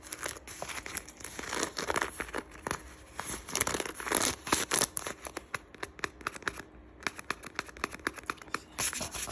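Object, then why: Leather lace-up boot with metal eyelets. Long acrylic nails scratch and tap along the laces, metal eyelets and worn black leather (or faux leather) upper of a lace-up boot with a buckled strap. The result is a dense run of quick, dry crinkling scratches and sharp clicks, bright and airy with almost no low end, pausing briefly before the tapping resumes.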